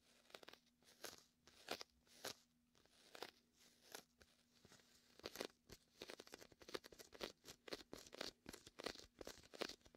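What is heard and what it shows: A hand rests on top of a large red and white hollow inflated vinyl beach ball while the fingertips press and peel the sticky vinyl. This gives quiet, bright, crunchy crackles in short bursts that grow busier and more rapid toward the end, over a faint steady low hum.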